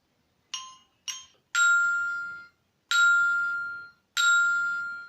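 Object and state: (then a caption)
Metal percussion bar, ringing metallic tone. A long, thin metal plate, a percussion bar, is struck five times, giving bright metallic tones centred near 1.4 kHz. The first two strikes are short and higher, and the last three ring out for about a second each. The tone is metallic because the plate is metal, and it sustains longer than a wooden plate's.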